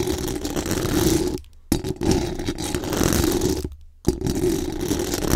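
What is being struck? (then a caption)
Metal mesh microphone grille. Very long acrylic nails scratch fast and hard across the hollow metal mesh dome grille of a large condenser microphone. The result is a dense, rough, buzzy scratching with a steady mid tone and a hissy high edge. It comes in three sustained bursts, broken by two short near-silent pauses.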